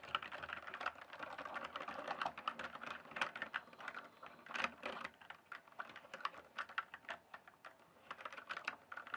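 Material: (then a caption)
Plastic. A full-size RGB-backlit plastic mechanical computer keyboard, its hollow keys on a solid base, is typed on quickly with the fingertips. A dense stream of short, dry, clicky key strikes, with sharper, louder clacks standing out here and there, carries a hollow plastic ring in the upper mids.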